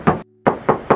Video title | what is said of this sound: SPILL SIENTA TIPE TERTINGGI Q MATIC 2017! TANGAN PERTAMA & TERAWAT HARGA MURAH! MOBIL BEKAS SEMARANG | kita tes ketok lagi. Tuh masih kedengeran banget nyaringnya.